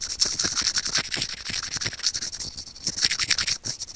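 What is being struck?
Small plastic earphone mic remote scratched with steel tweezers.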